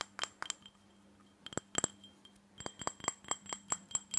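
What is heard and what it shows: Fingernails tap the sides and base of a small, empty, hollow glass tumbler with a red glitter coating. About a dozen quick, bright glassy clinks with almost no ring come in bursts. A short pause follows the first burst before a faster run of taps at the end.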